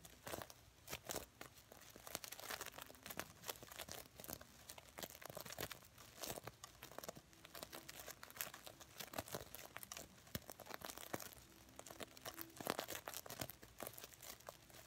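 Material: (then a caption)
Plastic sequins. Fingernails scratch and flip the plastic sequins across the fabric of a soft, filled, red reversible-sequin stuffed heart pillow. The result is a quiet, continuous stream of dense, bright crinkling and rapid clicking scratches, with brief faint tonal traces under the rustle.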